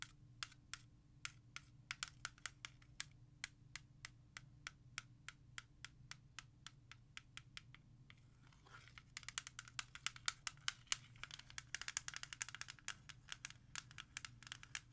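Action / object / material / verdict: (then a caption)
tap / plastic CD jewel case / plastic / none. Long nails tap quickly on the back of a hollow plastic CD jewel case, making sharp, bright, dry clicks that die away almost at once. The taps are evenly spaced at first, then a brief scratch along the surface leads into faster, denser tapping, all over a faint low steady hum.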